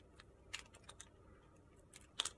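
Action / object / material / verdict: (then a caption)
scrape / bar of soap cut with a metal blade / soap / none. A metal blade shaves slivers off a thin remaining slab of white and purple glitter soap held in the fingers. Six short, bright, crisp scraping crunches sound over a quiet background, the last two close together and loudest.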